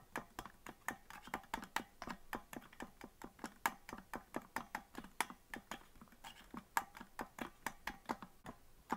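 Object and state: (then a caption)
Plastic melodica keys tapped. Fingertips tap the plastic keys of a green plastic melodica with colored stickers on the keys and a hollow body, not blown, in quick succession. About 40 short, dry clicks ring out with a hollow knock near 900 Hz and brief bright edges, each one dying almost at once.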